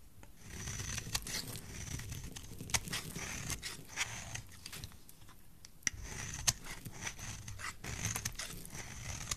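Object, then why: Bar of soap scraped with a blade. A utility knife blade scrapes curls off the face of a solid, dry, rectangular purple soap bar with a stamped logo, held in one hand. Continuous bright, rasping scraping runs throughout, with sharp, high clicks and snaps as the blade catches the soap, over a soft low rumble.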